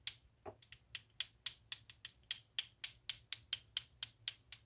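A clacker toy made of two small solid pink plastic balls on a string is swung by hand so the balls collide repeatedly. About 18 sharp, bright, dry clacks sound at roughly four per second, each dying away almost instantly, in a slightly uneven rhythm.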